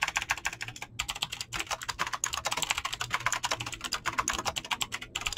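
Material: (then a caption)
Plastic. Fingertips fast-type on a mechanical keyboard with clicky green switches and PBT plastic keycaps. A rapid, dense stream of sharp, bright clicks follows with only brief pauses, each keystroke cutting off almost instantly.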